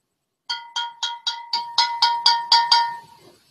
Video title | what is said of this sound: Examine McAfee's Benchmark Old No. 8 Bourbon | they have a different sound when you tap the bottle it's almost like a chime